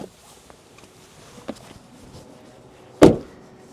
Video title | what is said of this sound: 2025 Toyota Land Cruiser: Is the Iconic SUV Still Worth It? | it sounds weak it sounds tinny it's very light it's very thin too